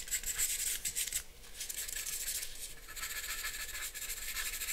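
A charcoal pencil makes short scratching strokes across a flat sheet of drawing paper. The result is a dry, bright, raspy scratching that comes in quick uneven bursts, with a faint high whistle-like tone during the first second.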